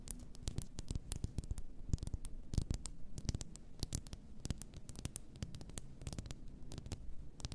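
Long nails tap the sides of an upright, full glass bath salt bottle. The result is a quiet, steady run of quick, dry clicks with bright crisp edges over a soft low rumble, each tap dying out almost at once.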